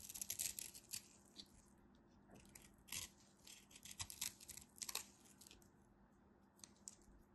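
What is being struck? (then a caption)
Bar of soap cut with a knife. A solid white bar of soap held in the hand is carved with a craft knife, scraping off powdery chips that crumble away. Short, bright, dry scraping strokes come in irregular bursts over a faint low hum, with quieter gaps between the louder cuts.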